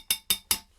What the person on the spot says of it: a porcelain stool not a plastic if you listen to my ring